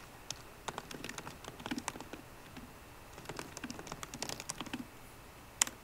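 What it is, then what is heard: Laptop keyboard typing. Fingertips of both hands type on a 13-inch MacBook Pro keyboard, with plastic keys set in an aluminum body. The keystrokes are quick, bright, dry clicks with almost no ring, coming in irregular bursts with a short pause in the middle. A single sharper, louder click lands near the end.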